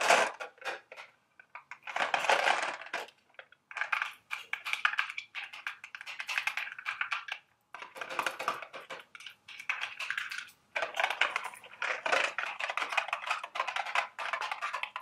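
A small, hollow, printed milk-carton-shaped cardboard candy box for Dubble Bubble gum Easter eggs is held in hand and tapped and scratched with long, sharp acrylic nails. The result is bursts of rapid, dry clicking taps and bright, scratchy rustling with very short decay, broken up by brief pauses.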